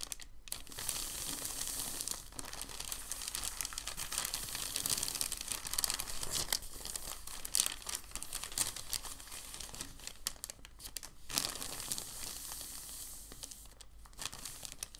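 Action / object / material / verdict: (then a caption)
scrape / thin packing paper sheet / paper / none. A large, thin, white crumpled sheet of packing paper is rubbed flat under the palms, then fingers lift and fold one corner. The result is a steady, dense, bright crinkling and rustling with short sharp crackles, quiet throughout, with a few brief pauses.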